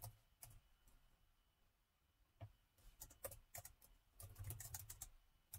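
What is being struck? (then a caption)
Plastic laptop keyboard. Fingertips from both hands type steadily on the plastic chiclet keys of a gold laptop keyboard. Soft, bright key clicks with a low thump come in uneven bursts, pause briefly, then pick up into a denser clatter. A faint steady tone hums underneath throughout.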